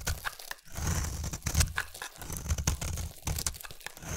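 A utility knife blade scrapes a solid round bar of soap, a blue layer over a white layer, peeling it into fluffy shavings. The clip is a dense run of soft, crumbly scraping and tearing strokes with a heavy low-end thud and brief bright crackles, in closely spaced bursts that stop and start unevenly.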